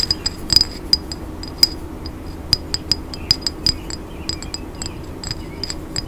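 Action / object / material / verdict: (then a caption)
tap / glass cologne bottle / glass / none. Fingernails tap a tall, hollow, grey smoky glass cologne bottle with a gold cap, held in both hands. About two dozen bright, high-pitched clinks come in an irregular run and die away almost instantly over a faint low background hum.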